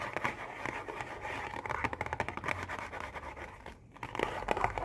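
Long painted nails tap and scratch quickly across a printed cardboard Oreo cookie box, hollow with cookies inside. Dense, crinkly taps and scrapes sit mostly in the mid range and die away almost at once, with a brief lull near the end before the rapid tapping picks up again.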